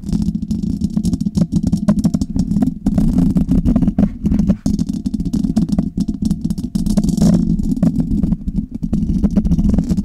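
A Blue Yeti metal USB condenser microphone has its hollow metal mesh grille scratched and tapped on both sides by long red nails. The result is a dense, continuous rattling clatter with a strong low, boomy body around 200 Hz. Rapid dry taps and scrapes run together without pause.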